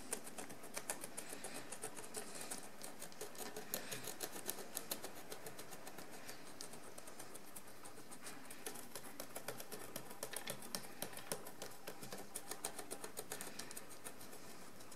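A wooden stick scrapes the crusted deposit off a large, encrusted ceramic jar lying on its side, working in short strokes. Quiet, rapid, dry scratching and ticking continues steadily throughout, with bright crackly clicks layered over a soft low rustle.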